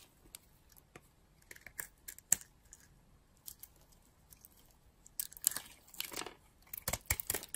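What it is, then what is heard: Dry bar of soap being cut and scraped. A utility-knife blade cuts and scrapes a solid, dry bar of soap with a white body and green shell, held in the hand. Quiet, bright crackles and sharp ticks come in scattered bursts at first, then turn into denser, crisp scraping and crumbling toward the end.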